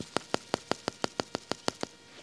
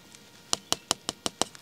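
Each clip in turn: First: water-filled plastic pipe. Second: empty plastic water pipe.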